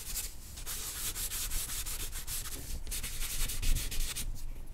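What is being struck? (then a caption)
Charcoal stick on drawing paper. A hand draws strokes with a black charcoal stick on a single white drawing paper sheet lying flat on a black board, scratching and rubbing the surface. Quick, unevenly spaced bright scratchy strokes follow one another steadily over a low, dull rumble, with no pause.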